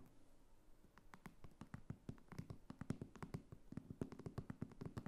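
Long nails scratch and tap along the top edge and flap of a small red croc-embossed faux leather clutch standing on a table. A soft, low scratchy rustle starts things off, then gives way to a quick, uneven run of short, crisp taps with bright clicky tops and a dull low body. The whole clip stays quiet and close.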